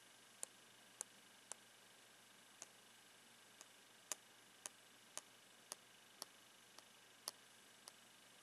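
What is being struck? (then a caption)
Clear plastic box tapped with a pen. A blue pen taps the clear plastic face of a hand-held sock box with a black printed end panel, making 13 sharp, bright ticks at uneven intervals over about eight seconds. Each tap dies away almost instantly over a quiet, steady hiss.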